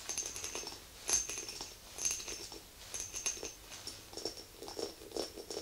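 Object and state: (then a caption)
Glass candle jar. Long acrylic nails tap and scratch the rim and sides of a small glass candle jar full of white wax with a metal lid. The result is a steady, irregular run of quiet, bright clicks and scratchy ticks, with a few sharper taps standing out. The sound is high and glassy, with almost no low end, and each tap rings only briefly.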